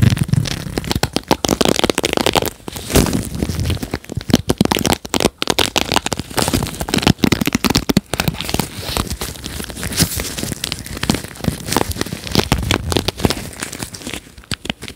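Gloved fingertips strum and scratch the dense plastic bristles of a red plastic paddle hairbrush held beside the mic. The result is a steady stream of rapid, crisp crackling clicks and bright scratchy rustling, with soft low thumps underneath.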